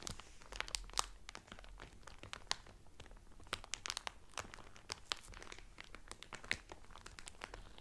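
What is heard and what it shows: Fingertips and medium painted nails press and crinkle the loose, thin clear cellophane sealed around a folded blue terry Carnival towel lying flat on a table. Quiet, continuous rustling is broken by many sharp, bright crackles and snaps that die away almost instantly.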